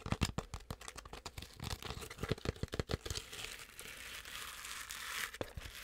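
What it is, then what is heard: Plush fabric toy. Long acrylic nails scratch fast across the fuzzy fabric belly of a medium, soft stuffed penguin toy. Quick, crinkly scratches and clicks give way to a steady, bright, hissy rubbing, broken by one sharp tap near the end.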